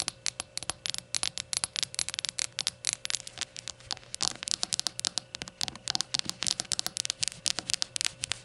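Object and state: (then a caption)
Glazed ceramic shot glass. Long nails tap and scratch the glossy sides and base edge of a small, hollow, rainbow-glazed ceramic shot glass lying on a towel. About fifty quick, bright clicks and scrapes come in an uneven, steady stream, sharp and high with almost no low end. Each one stops dead with no ring.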